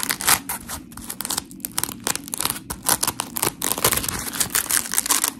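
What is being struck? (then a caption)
Foam scrub sponge. Long acrylic nails scratch along the textured edge of a dry, solid, hand-sized smiley-face polymer foam scrub sponge with white and blue porous foam layers. The result is a rapid series of gritty, crackling scrapes, bright and hissy with very little low end, rising and falling in short bursts throughout.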